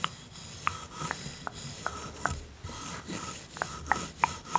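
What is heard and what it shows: A bamboo toothbrush with blue bristles brushes back and forth over the small, solid painted wooden teeth of a toy dental set, with long-nailed fingers resting nearby. A soft, hissing scrape runs throughout, broken by nine short, bright wooden clicks at an irregular pace that die away almost instantly.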